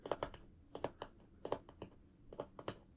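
Fingertips tap along the edges and front of a large, flat cardboard box for a Star Wars AT-RT toy, which has a clear plastic window with the toy inside and is held in both hands. Thirteen short, dry, hollow taps come in quick pairs and small clusters. Each tap centres around 586 Hz and dies away almost instantly.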